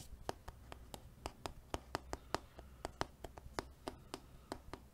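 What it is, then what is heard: Cardboard box. A small, hollow, rectangular black printed cardboard retail box with a white barcode label, apparently empty or lightly filled, is held in one hand beside the microphone and tapped and scratched with the fingertips and nails of the other hand. About 21 short, dry, hollow taps sound at an uneven pace, each dying away almost at once, with faint scratching and a low steady hum underneath.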